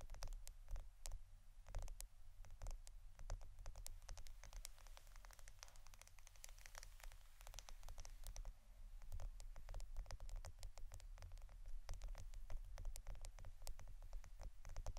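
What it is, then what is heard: Roll of adhesive tape, tapped and scratched. A roll of plastic Scotch adhesive tape is tapped and scratched. Many quick, crisp, bright clicks and scratchy rustles come in a steady rapid patter over a constant low hum, fairly quiet throughout.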